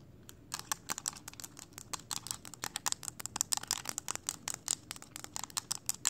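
Long acrylic nails tap and scratch the hard hollow casing of a small mint-green plastic power bank with a glowing blue ring light, held in the hands. A quick, irregular run of dozens of sharp, bright clicks and scratches sounds over a faint hiss. Each hit is crisp and high-pitched and stops almost at once, with very little low end.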